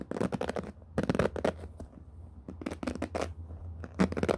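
Fingertips and nails scratch and brush across the many ball-tipped plastic pin bristles of a handheld black paddle hairbrush with a rubber cushion pad, while the hands grip and rub the brush head. Bursts of crisp, scratchy rustling come in clusters over a steady low hum, fading briefly between strokes.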